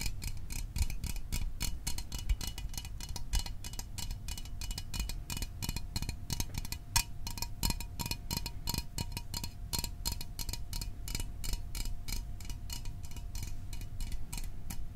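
Fingernails tap rapidly and steadily on the sides of a small, hollow Fanta orange aluminium drink can held in both hands. The taps are sharp, bright, ticking clicks that die away almost at once, over a faint steady ringing tone and a low background rumble.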